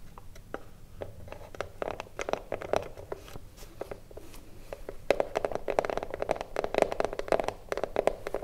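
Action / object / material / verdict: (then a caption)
scrape / small wooden cigarillo box / wood / none. Long blue nails rapidly scratch the wooden front of a small, hollow wooden cigarillo box held upright. The result is a dense run of short, dry scratches and ticks with a hollow midrange tone around 640 Hz and bright edges. The scratching grows louder and busier in the second half.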